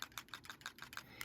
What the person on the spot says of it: this one's pearl, you do need to shake it. Can you hear the ball?